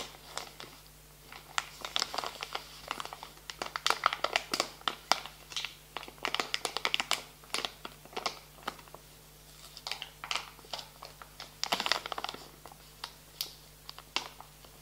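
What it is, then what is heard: Plastic wet wipes package. Hands squeeze a soft plastic pouch full of wet wipes while fingertips scratch its film, making dense, bright crinkling and crackling in quick bursts. The sharp clicks die away almost instantly over a faint steady low hum.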